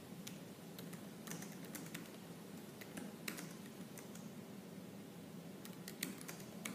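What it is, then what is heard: Laptop plastic keyboard. Fingertips with purple nails type fast and hard on the black plastic keys of a silver laptop keyboard. Crisp, bright clicks tap out in quick, uneven bursts over a low, steady hum, and each keystroke dies away almost instantly.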